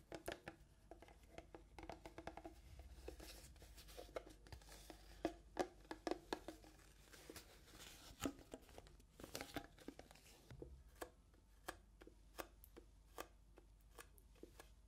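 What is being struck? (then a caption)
Small clear plastic box. A small, clear, empty-looking hollow plastic box is held close to the microphones and tapped with long nails and fingertips. Quick, dry plastic clicks and taps, some with a faint hollow ring around 355 Hz, come in dense clusters over a soft crinkling hiss. They settle into sharper, evenly spaced taps near the end.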